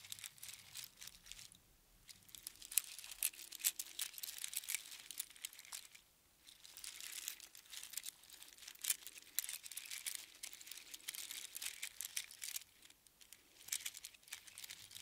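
A strand of small hollow sea snail shells strung together on string is held in both cupped hands and rolled and shaken by the fingers. It makes dense, bright clicking and crinkling rattles with almost no low end. The rattling comes in bursts separated by brief quiet pauses.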